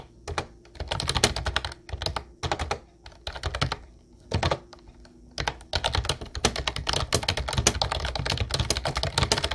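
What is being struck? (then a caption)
Plastic typewriter-style computer keyboard. Fingertips of both hands type on a mint-blue plastic retro typewriter-style Ubotie keyboard with round white keycaps. Bursts of quick, clicky keystrokes come with short pauses between them, then a long unbroken run at the end. Each press gives a bright plastic clack over a low thock, with a faint steady hum underneath.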